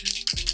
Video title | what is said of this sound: Full Face Using a Mix of High End & Affordable Makeup - Testing NEW LAUNCHES! Are they Worth It? | you can hear the little shaker inside